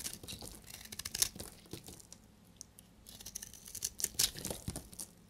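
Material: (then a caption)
Soap. A solid red, translucent, dried bar of soap is held in the hand and shaved with a utility knife blade, with flakes crumbling off. Quiet, dry, crisp scraping and crackling strokes come in bright, short bursts, with a few sharper snaps standing out.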